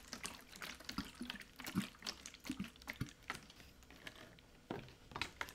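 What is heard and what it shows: A large blue hollow plastic water jug, partly filled with water, is held in both hands and tipped and shaken. The water sloshes around inside with hollow, gurgling splashes, broken up by bright clicks and scattered light finger taps on the plastic.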